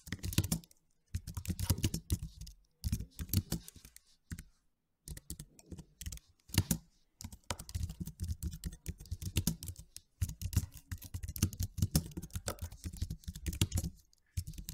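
Fingertips type rapid key taps on a white and silver slim, low-profile plastic computer keyboard with low plastic keys. Bursts of quick, dry clicks and soft low thuds run in uneven flurries separated by brief pauses, each tap dying away almost at once.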